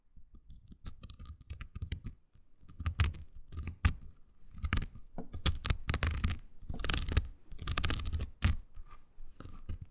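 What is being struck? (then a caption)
Silicone scrubber pad with nubs. Long green nails scratch a small, oval, pink silicone body scrubber pad with nubs, solid yet flexible. The result is a dense run of short, dry scratching and scraping strokes with soft low thumps and bright crackly bristle, rising and falling in intensity across the clip.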